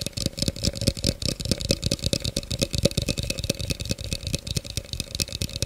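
An empty, hollow clear plastic blender cup with a threaded rim is tapped rapidly with the fingernails close to the mic. There are about 23 quick, dry clicks, each with a faint hollow ring near 540 Hz, a low thump and a bright edge, all dying away almost instantly.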